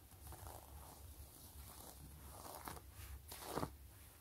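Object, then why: Quilted faux leather wallet. Fingertips and long nails scratch and rub across the pebbled faux-leather surface of a long, closed gray quilted wallet. Soft, close-up scratching and rustling with a low rumble underneath builds toward a brighter, sharper scrape near the end.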